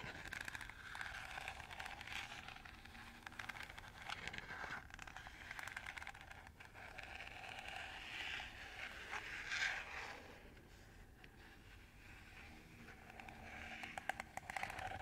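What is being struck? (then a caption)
Plastic colander. Fingernails scratch and scrape along the ribbed surface of a hollow, empty green plastic colander with radial slots, held in the hand. A steady, dense run of quick, bright, dry scratches carries a hollow plastic tone that rises and falls in intensity, with no low-end body.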